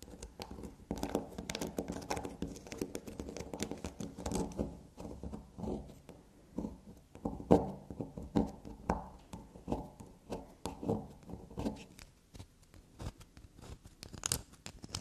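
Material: Soap.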